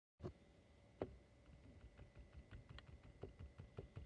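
Fingertips and nails tap and scratch across the glass front of a small, silver-edged picture frame lying flat and holding postcards. Soft, dull knocks land at an uneven pace, mixed with faint scratchy brushing and a steady low hum underneath. The taps are quiet and short, dying away almost at once.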